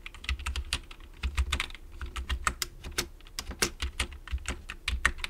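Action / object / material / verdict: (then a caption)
tap / plastic computer keyboard / plastic / none. Fingertips type continuously on the keys of a full-size black plastic computer keyboard with a hollow plastic case. Quick, uneven keystrokes give short bright clacks over a low, hollow thump, and each one dies away almost at once.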